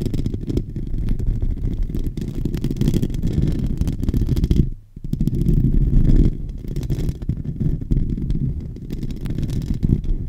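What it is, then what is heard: Metal microphone grille being scratched. Short nails on both hands scratch the hollow metal mesh grille of a silver microphone. The result is a dense, continuous low rumbling scrape with almost no high end, broken by a brief drop in level just before the five-second mark before the scratching resumes.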